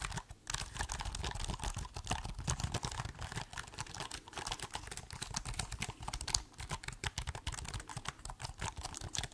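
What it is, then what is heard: Laptop keyboard with plastic keys. Fingertips type rapidly on the plastic keys of a silver laptop keyboard while the laptop is held tilted. A fast, steady stream of short, dry clicks and clacks follows a brief pause at the start. The bright key snaps ride over a soft low thump, and each stroke dies away instantly with no ring.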